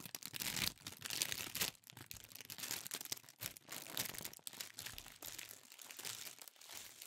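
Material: Tissue paper.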